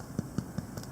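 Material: Bread.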